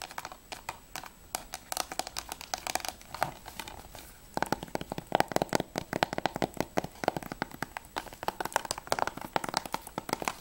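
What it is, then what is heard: Plastic game case tapped with fingernails. Fingernails tap rapidly on the top edge of a closed, hollow plastic PS3 game case (Assassin's Creed II Platinum), then move to its back cover at about 4.3 seconds. The dense run of short, dry clicks becomes louder and brighter on the back cover. Each tap is hollow and clacky, centered around 720 Hz, and dies away almost instantly.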